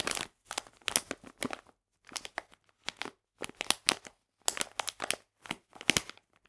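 A full printed plastic package of polenta is squeezed and crinkled in the hands, giving bursts of bright, dry crinkling and crackling separated by short silences. The sound is mostly high-pitched, with almost no low end and no ringing after each crunch.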